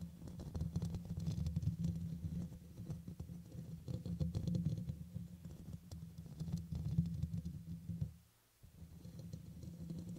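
Fingernails from both hands scratch and patter over the hollow black metal mesh dome grille of a red microphone, making a dense, irregular stream of soft clicks and rustles with a strong low hum-like body. The scratching continues steadily, stops briefly into near silence just after eight seconds, then resumes.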